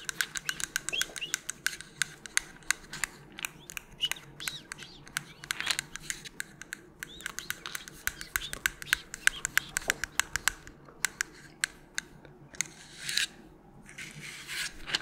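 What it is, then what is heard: Plastic pill bottle tapped with nails. A small, hollow white plastic melatonin bottle with a purple cap, holding tablets, is held in a gloved hand and tapped and scratched with long pointed nails. Rapid, dry, bright clicks and taps crowd together with almost no ring. Brief scratchy hisses rise near the end over a faint low background.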